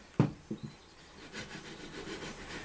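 A straight edge is set against the edge of a bubinga guitar top piece, producing one sharp, hollow wooden knock followed by two quicker, lighter taps, then a soft scraping rub. The contact doesn't sound solid because the edge only touches at several points, so it is not yet flat.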